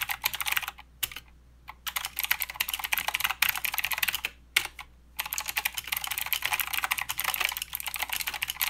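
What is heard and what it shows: Fingertips of both hands type continuously on a plastic mechanical keyboard with clicky blue switches and plastic keycaps. Rapid, bright, sharp clicks clatter in dense bursts, broken by two brief pauses near the start and middle before the steady typing resumes.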